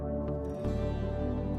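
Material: Nothing is struck.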